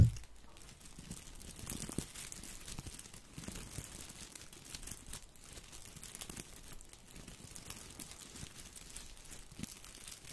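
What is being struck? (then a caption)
Artificial boxwood ball with plastic leaves. A small artificial boxwood topiary ball made of plastic leaves is held at the left side of a microphone and rubbed and squeezed with the fingers. It makes a soft, continuous crinkling rustle with a dense texture of tiny crackles, much of its energy sitting low, plus occasional faint brighter ticks. After a brief louder moment at the very start, the sound stays quiet and fairly even throughout.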